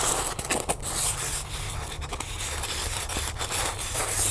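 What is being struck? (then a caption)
Styrofoam block. A small white solid styrofoam block is held in the hands while long nails scratch and tap along its rough surface. The result is a continuous dry, crackly scraping with a low rumble underneath, punctuated by quick taps that stand out at several points.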